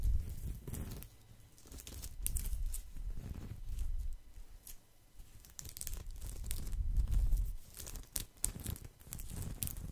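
A round, flat woven straw or rattan coaster, a solid thin disc, is held close to the microphone and scratched with fingertips and nails. The result is dry, crackling, tearing-like scratches in quick irregular bursts, with bright sharp edges over a deep, muffled handling rumble that swells and fades.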